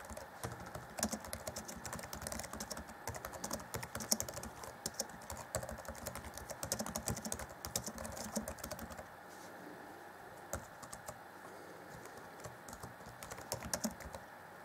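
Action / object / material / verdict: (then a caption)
tap / plastic laptop keyboard keys / plastic / none. Fingertips of both hands type on the black plastic chiclet keys of a 2014 Acer Chromebook C20's grey laptop keyboard deck. Dense, rapid, bright clicks and soft clacks run steadily for about nine seconds, then thin out to scattered keystrokes over a quieter background. Each tap is short and dry with almost no ring.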